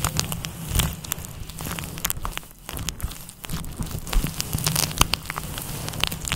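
Fingertips rub and scratch a fluffy grey-white synthetic fur windscreen over a microphone with a kneading motion. A steady stream of dense crackling and brushy scratches rides over a low, muffled rumble, with sharper bright crackles popping out now and then.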